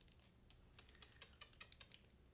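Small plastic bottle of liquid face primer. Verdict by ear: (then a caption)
Thin. A deluxe-size sample of Becca Cosmetics First Light Priming Filter face primer in a plastic bottle is shaken, producing a rapid run of light, crisp clicking and sloshing taps with bright high-frequency content. The thin liquid inside is audible moving around, and the product is thin enough that it is already seeping out.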